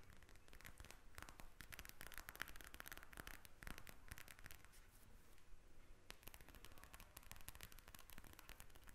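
A pink gel bead eye mask in a plastic shell, lying flat, is tapped with the tips of long red acrylic nails. The result is a steady stream of quick, dry, bright clicks with almost no ring, some coming in rapid bursts, over a soft low rumble. The tapping stays quiet throughout and eases off briefly in the middle.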